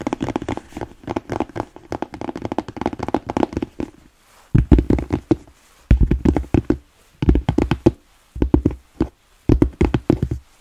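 Long nails tap rapidly on the rounded toe cap of a black smooth-leather boot held by the toe. About four seconds of quieter, continuous tapping are followed by five louder bursts of quick taps separated by short silences. The hollow boot gives each tap a dull, low, knocking thud that dies away almost at once.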